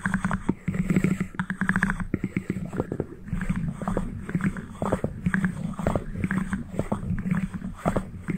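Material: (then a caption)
Cardboard. Fingertips and nails rapidly tap and scratch the two halves of a small white cardboard ring box held close to the mic. The result is a dense, steady run of short, dry, hollow clicks and soft scrapes. The taps are muffled and low-heavy with a faint low hum underneath, and each one dies away almost instantly.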